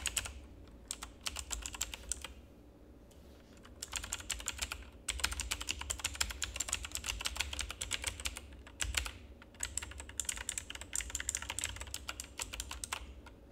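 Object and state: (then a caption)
Plastic mechanical keyboard being typed on. Continuous two-handed fingertip typing on a full-size black plastic mechanical keyboard with RGB backlight produces rapid, bright, sharp clicks in dense bursts separated by brief pauses. Each keystroke is short and crisp, riding over a faint low hum.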